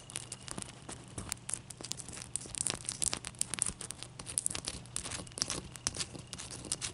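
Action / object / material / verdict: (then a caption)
scrape / large ice cube / ice / none. Long nails scratch and tap on a large, clear, solid, wet ice cube, making a dense run of crisp, bright scratching and crackling. Sharp, dry clicks with almost no ring are scattered throughout, over a faint steady low hum.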